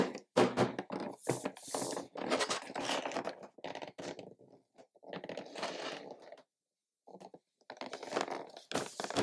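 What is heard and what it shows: Gloved fingertips tap and knock on the lid of a medium, hollow pink plastic toy box (Na! Na! Na! Surprise! Teens Series 3) with a quilted glossy surface and a printed card on the front, then lift and handle it. The result is a run of dull, hollow plastic knocks and crinkly, scraping handling noises, centered in the low-mid range, in bursts separated by short silences.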